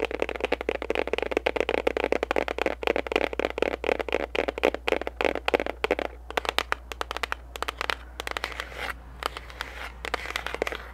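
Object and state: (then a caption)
Cardboard gift box tapped and scratched with fingernails. A small pink printed paperboard gift box with a barcode, which seems hollow, is held up in front of the face and quickly tapped and scratched with long pink acrylic nails. The result is a rapid, dense stream of dry, crackly clicks and scrapes with a hollow papery midrange, over a faint steady low hum.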